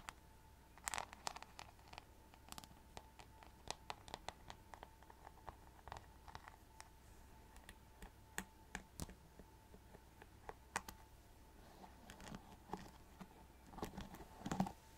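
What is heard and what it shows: A rhinestone-covered plastic paddle hairbrush is held in one hand while long nails tap and scratch its glittery back and the brush edge. The result is quiet, dry clicks and short scratches, scattered across the clip with a steady faint tone underneath.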